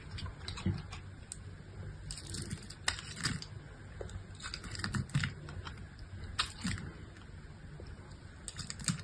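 A solid pink bar of soap held in the hand is scored and sliced at the edge with a utility-knife blade. Repeated crisp, bright scraping and crackling clicks sound over a steady low rumble as the blade bites into the soap.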